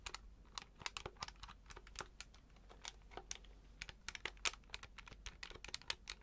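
Fingertips repeatedly press and tap the plastic keys of a hand-sized grey plastic electronic calculator with an LCD display, held up in both hands. An irregular run of quick, bright, dry plastic clicks sounds, each cutting off at once with no ring, over a faint, steady low background.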